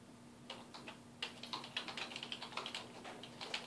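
Fingertips type on a dark plastic desktop keyboard resting on a wooden desk, producing about twenty quick, bright, short keystroke clicks in an irregular rhythm. The clicks sit over a quiet, steady low hum, with a brief pause near the start before the typing picks up.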